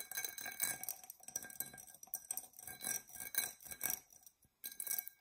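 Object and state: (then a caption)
Glass tumbler tapped and scratched. A tall, dark purple, embossed tinted glass tumbler, hollow and empty, is scratched and tapped with long nails. The result is an irregular run of quiet, bright clicks and scratchy clinks with high, faint ringing overtones that die away almost at once. A brief silence falls just before the last burst of tapping.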